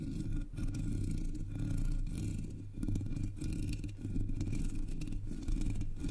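Long polished nails tap and scratch across the hollow black metal mesh grille of a Blue Yeti microphone. A dense, continuous rasping with a heavy low rumble and faint bright scratchy texture is heard, interrupted by several brief dips. The level holds steady throughout.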